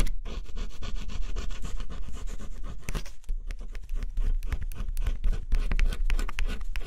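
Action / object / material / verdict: scrape / scratch-off coated cardboard puzzle / cardboard / none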